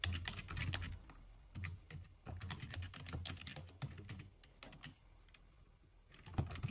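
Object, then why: Plastic computer keyboard. Fast two-handed typing with fingertips on the plastic keys of a full-size black plastic computer keyboard. A rapid flurry of bright, short clicks with soft low thumps comes in bursts, eases into quieter stretches, then ends with a louder cluster of keystrokes.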